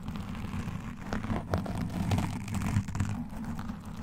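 Long nails and metal claw rings on both hands continuously scratch a black foam windscreen on a microphone. The result is a steady, muffled, low rumbling scrape with soft crackles and brief louder swells, with almost no bright content.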